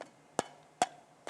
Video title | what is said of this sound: 13/04/22 - 3º Ano EF - Ciências - Produzir e identificar sons - parte 2 | não diria que esse som é metálico